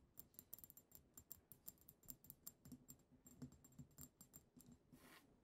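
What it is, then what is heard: Glass perfume bottle tapped with fingernails. Long acrylic nails tap rapidly on the shoulders and neck of a small, pink-tinted glass perfume bottle with a heart print, its pink cap removed and partly filled. The result is a quiet, quick run of crisp, bright clicks over a soft low knock, each dying almost at once, with a brief, softer brushing swish near the end.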